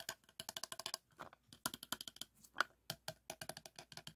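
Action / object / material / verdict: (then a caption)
tap / plastic tube / plastic / none. A textured teal plastic tube is tapped with fingertips and short nails, giving about 29 quick, dry, bright clicks in uneven bursts. Each tap dies away almost instantly with a hollow tone near 1.4 kHz and very little low end.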